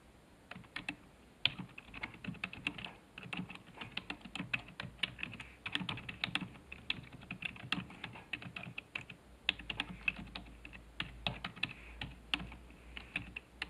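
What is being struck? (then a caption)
Plastic computer keyboard. Fingertips type steadily on a black plastic computer keyboard resting on a desk, producing a rapid, uneven stream of short, bright clicks and clacks with occasional louder key strikes. Each click dies away almost instantly over a faint low hum.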